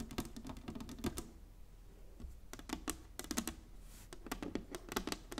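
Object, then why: Inlaid wooden chessboard. Long nails tap quickly on the flat surface of a large inlaid wooden chessboard, producing bursts of short, dry clicks with a woody body around 230 Hz and bright tips. The tapping comes in clusters separated by brief lulls, including a quieter gap near the start of the second half, and each click dies away almost instantly.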